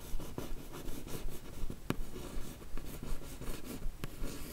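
A single long nail traces and scratches the smooth lid of a closed, hollow, yellow rigid paper-covered cardboard beauty box. Soft, dry scratching strokes repeat at a steady, fairly regular pace over a low hum, with a few brief sharper ticks.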